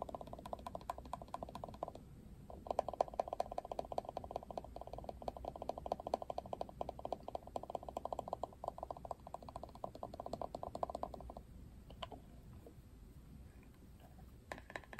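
Fingertips flick and scratch the plastic bristles of a Barbie plastic paddle hairbrush, making a dense run of quick ticking clicks with a mid-range tonal buzz and a brief pause near the two-second mark. After about eleven seconds the scratching stops, and a few sparse, sharp taps land on the brush's printed plastic back.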